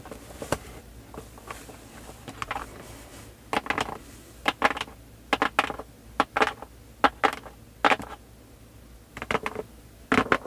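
Fingers with long painted nails scratch and rub across the printed surface of a full, sealed cardboard LEGO Star Wars 501st Legion box (set 75280) lying flat on a table. Short, dry, bright scratching bursts come in irregular clusters over a quiet background, each dying out almost instantly with no ring.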